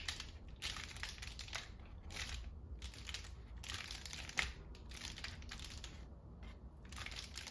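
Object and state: Paper lantern, crinkly.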